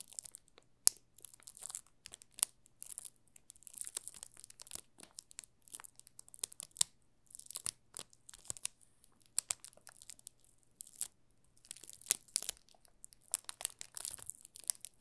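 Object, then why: Bar soap wrapped in thin plastic film. A palm-sized solid yellow Marseille soap bar wrapped in thin clear plastic film rests on a pink soap bar while both hands' short-nailed fingertips rub and press the film. The result is soft, bright crinkling and crackling in irregular bursts of sharp snaps with brief pauses, over a faint steady low hum.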